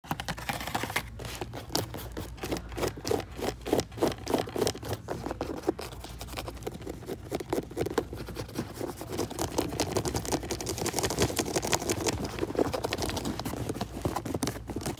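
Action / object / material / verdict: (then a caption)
scrape / suede leather boot upper / suede leather / none. Fingertips and nails quickly scratch and tap the soft suede upper and laces of a pair of tan lace-up boots, hollow and empty, sitting on a store shelf. The result is a rapid, continuous stream of dry, papery scratches and soft muffled taps with almost no ring, growing slightly denser and brighter toward the end.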